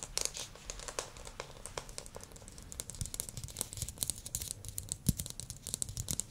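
A small glossy blue plastic ball, likely hollow, is held in both hands and tapped with fingernails and fingertips. Many quick, dry taps sound close up with crinkly, bright clicks over a soft low thump, shifting from sharper nail clicks toward duller fingertip taps.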